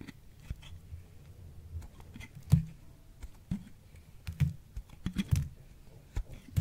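A small knife blade scrapes and carves thin strips off a hand-sized, solid pink bar of soap that has been puffed and dried in a microwave, held in one hand beside a pile of crumbled soap. Quiet, dull crunching scrapes and soft clicks come in irregular bursts, with short sharper cracks between them.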